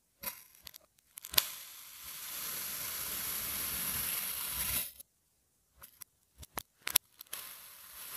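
A long, thin metal blade slices down through a flat, solid, hand-sized, sun-shaped mold of orange kinetic sand pressed with a pattern, making repeated cuts as the severed slices fall aside. Sharp, bright ticks open the clip, followed by a long, steady, gritty, high hiss as the blade drags through the sand. After a pause come several quick, crisp taps and a soft, fading hiss.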